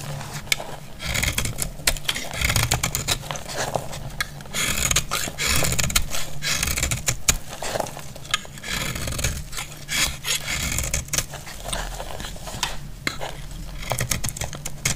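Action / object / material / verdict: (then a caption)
scrape / bar soap cut with a metal blade / soap / none. A metal blade cuts cubes from a solid, dry orange bar of soap held in the hand and scrapes it. The result is dense, crackling crumbles and dry scraping, with bright, crisp crackle over a low rumble throughout.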